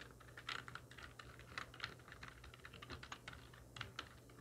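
A full-size black plastic computer keyboard with hollow keys, resting on a wooden desk, is typed on very rapidly with the long nails and fingertips of both hands. A dense, uneven stream of short, bright plastic clicks and clacks plays over a faint steady low hum, with each keystroke dying away almost instantly.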